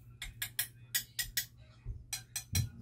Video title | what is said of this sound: V-ROSSI INDO SWING ARM UNBOXING AND REVIEW - RAIDER 150 FI - KAMBYO MOTO | Hindi siya tunog lata mga lods. Tunog makapal siya.